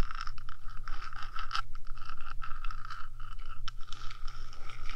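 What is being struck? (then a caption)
Metal microphone housing. Long nails on both hands scratch back and forth across the top of a 3Dio microphone's hollow metal housing. The result is a dense, continuous scratching and scraping texture with a steady bright band around 1.3 kHz, high hiss above it, and a constant low rumble near 70 Hz underneath.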